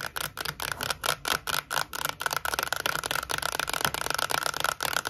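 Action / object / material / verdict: tap / Cardboard composite tube with plastic lid / cardboard / none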